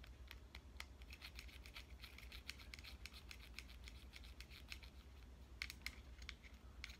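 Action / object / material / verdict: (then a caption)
tap / plastic compact digital camera / plastic / none. A fingernail taps and scratches along the side and buttons of a pink compact digital camera, making a quiet, steady stream of short, bright clicks and dry scraping strokes. A low, constant hum sits underneath, and each tap dies away almost instantly.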